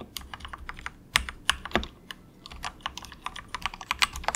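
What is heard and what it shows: Fingertips of both hands type softly on a very cheap compact 68-key plastic mechanical keyboard with a hollow case, resting on a desk mat. A steady, rapid run of short, bright clacky keystrokes sounds with little low end, and a few keys land noticeably louder and more hollow than the rest.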